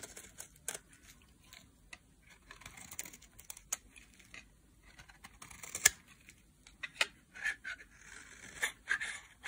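A solid orange dry bar soap is held in the hand and carved into thin strands with a metal utility blade. The result is a quiet, irregular series of short, dry, bright scraping and cutting strokes with no ring after each cut.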